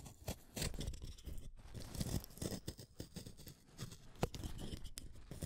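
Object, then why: Wooden colored pencil. An orange wooden colored pencil, small and solid, is shaved with a utility knife blade, and curls of wood peel off. The result is a run of short, dry scraping and shaving strokes with brief bright crackles, mostly low in tone, and a sharp snap near the end.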